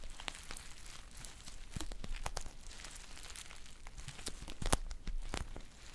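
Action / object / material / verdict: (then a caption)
scrape / foil tea pouch / foil / none. A green foil tea pouch is held close and crinkled with fingers and long nails. The result is a steady, soft crinkling with sharp, bright crackles and snaps scattered throughout, over a low rumbling background.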